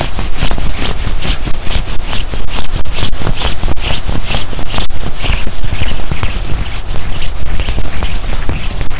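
Both hands grip and scrunch a black quilted nylon puffer jacket being worn, rubbing the padded chest fabric beside the zipper. The result is a continuous, dense rustling and crinkling over a heavy low rumble, with bright swishy bursts rising and falling as the fabric is squeezed and rubbed.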